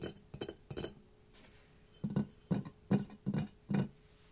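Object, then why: Ceramic mask. A ceramic mask is tapped for ASMR, giving short clinking, glassy taps. The strip shows separate bursts: three quick taps early, a faint one near the middle, then a louder run of five heavier taps with a low body beneath the bright click.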